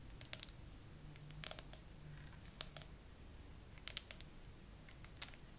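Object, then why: Hard plastic phone case with charms. Long acrylic nails tap a phone in a clear, glittery hard plastic case with glued-on 3D charms and pearls, mounted on a tripod. Quick, sharp, high clicking taps come in small bursts over a faint low hum, each click dying away almost instantly.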